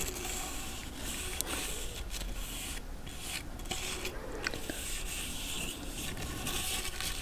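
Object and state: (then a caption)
Large cowrie seashell. A thin dark stick or brush handle is scraped along the ridged, toothed opening of a large, hand-sized hollow cowrie seashell. It makes a steady, close, raspy scraping with a low rumble underneath and a bright hiss on top, broken by a few sharper clicks as it catches on the ridges.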